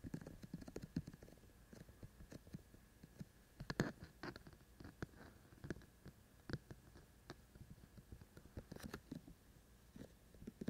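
A handheld-size binaural ASMR microphone with a black body and two white silicone ear shells is tapped and scratched on the ears by both hands, using fingertips and short nails. Quiet, dry, muffled low thumps mix with brief scratchy rustles in an irregular, steady stream. A few louder taps stand out, and each sound dies away almost instantly.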